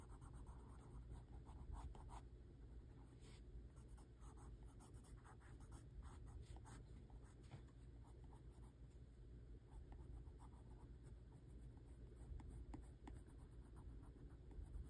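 A hand rubs and scratches a Crayola wax crayon across a thin, flat white paper sheet lying on a table, shading a drawing. The result is a quiet, continuous scratchy rubbing with bursts of bright crayon scrapes over a steady low rumble.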